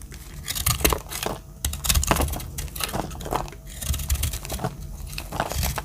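A metal utility-knife blade cuts and flakes the dry surface of a solid, palm-sized, round pink speckled soap bar. Dry, crisp scraping and crinkly tearing sounds come in a run of quick overlapping strokes with bright edges over a low rumble, as flakes break away.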